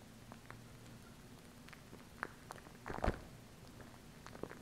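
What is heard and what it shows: Long acrylic nails tap and scratch the body of a small hollow plastic glue stick tube near its cap. Soft, scattered clicks and a brief cluster of scraping taps rise over a quiet low hum.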